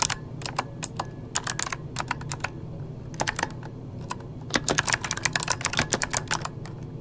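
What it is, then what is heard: Plastic mechanical keyboard. Fingertips of both hands rapidly tap the keys of a full-size backlit mechanical computer keyboard with plastic keycaps. Short, sharp, bright clicks come in quick bursts over a low steady hum, with a brief lull in the middle before a denser run of taps.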